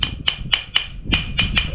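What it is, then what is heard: Solid bonded floor tile. A ceramic floor tile that is still firmly bonded to a concrete porch is tapped seven times, each tap giving a short, solid, wood-block-like knock with a bright ring near 3 kHz that dies away almost instantly. Unlike hollow, loose tiles, it sounds solid and well stuck down.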